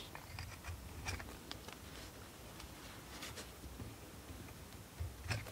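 A steel knife blade carves and scrapes a solid blue bar of soap held in the hand. Quiet, crisp scratching and soft shaving sounds come in short bursts over a low, muffled rumble. A couple of sharper, louder scrapes stand out near the end.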